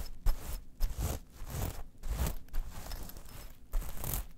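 Long nails scratch across a small metal mesh clutch pouch lying flat, making repeated rough, rasping strokes with a faint metallic crunch. Near the end the pouch is turned over to its black side and the scratching continues.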